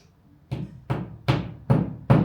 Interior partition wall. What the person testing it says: शायद आप इसे सुन सकते हैं, यह खोखला है